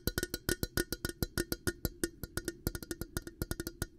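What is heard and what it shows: A hollow, empty, clear glass coffee carafe with a black handle is tapped on its glass body with fingertips and nails, giving 29 quick, dry clicks in a steady rapid rhythm. Each tap carries a faint glassy ring with a low body tone and a bright edge, and it dies away almost at once.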